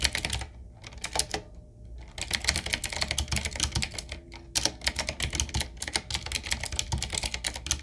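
A retro typewriter-style mechanical keyboard with round black plastic keycaps on a wood-trimmed frame, sitting on a wooden desk, is typed on with the fingertips of both hands. Rapid, bright clicky keystrokes clatter in bursts, with a brief pause near the start and another shortly before the midpoint. Each click is short and dry over a faint low hum.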